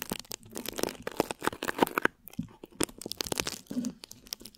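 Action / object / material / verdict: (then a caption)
scrape / thin plastic wrap over a microphone / plastic film / none. Long nails scratch and crinkle thin plastic wrap stretched over a microphone head. The result is a dense, close stream of crisp crackles and tearing-like rustles, with bright, broadband texture and brief, dry pops throughout.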